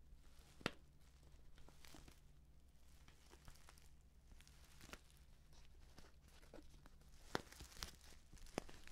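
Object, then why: Stand-up paper tea pouch. Fingers handle, squeeze and tilt a filled white-and-purple stand-up paper tea pouch, making soft, quiet crinkling and rustling over a steady low hum. A few sharper, brighter crackles stand out from the gentle crinkle throughout.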